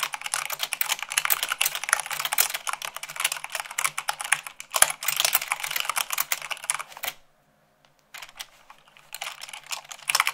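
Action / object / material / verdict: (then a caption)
tap / plastic mechanical keyboard / plastic / none. Fast two-handed typing with fingertips and long nails on white plastic keycaps of a black plastic mechanical keyboard produces a dense stream of bright, sharp clicks. The clattering runs steadily for about seven seconds, stops briefly, then resumes more softly toward the end.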